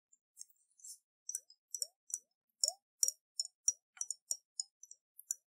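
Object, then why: Glass jar with water. Fingernails tap a round, hollow glass jar with a metal lid and water inside as it is held in the hands and tilted. About sixteen quiet, bright, very short clicks come in a loose, uneven rhythm, some with a faint rising watery blip beneath them.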